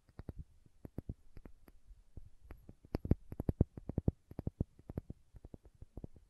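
A small, hollow, cylindrical plastic condiment shaker bottle with a red cap and printed label is held in one hand and tapped and scratched with long manicured nails. The result is a quick, uneven run of soft, dull clicks and taps with very short decay, interspersed with faint scratching.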